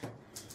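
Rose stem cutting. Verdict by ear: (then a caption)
Woody. A thick, hard, woody rose stem from a bouquet is tapped while cuttings are being chosen, giving two short, dry knocks with a low body and a brief bright click on the second. The stem rings too hard and woody, so it is judged unsuitable for rooting.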